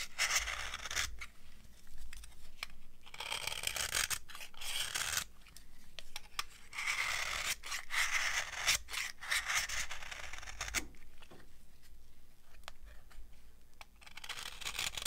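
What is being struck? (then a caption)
Bar of soap shaved with a metal knife. A solid, dry, old yellow bar of soap held in the palm is shaved with a metal knife. Repeated dry, crunchy scraping strokes come in bursts of bright, hissy rasping, with short quiet gaps and sharp clicks between passes.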